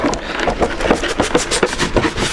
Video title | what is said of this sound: BIGBEN Party BT Pro Plus - Vos recommandations! (100 watts POUR 70€) | ça sonne creux c'est comme s'il avait rien dedans